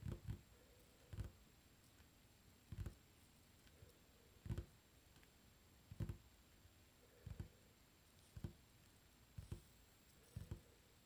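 Fingertips drum rapidly on a solid, dark varnished wooden tabletop. The result is clusters of soft, low, muffled thuds with very short decay, recurring irregularly against a quiet background.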